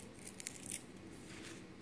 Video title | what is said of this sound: home made lachcha shemai/কিভাবে লাচ্ছা সেমাই ঘরে বানাবেন | মচমচে শব্দটা শুনলেই বোঝা যায় এটা মচমচে হয়েছে